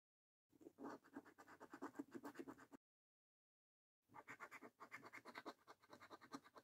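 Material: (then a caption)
Paper. A coin scratches the coating off the game panels of a thin, flat paper lottery scratch card, with the hands staying on the card throughout. Two bursts of quick, repeated raspy strokes, quiet and mostly midrange with a papery crackle, are separated by a short silence.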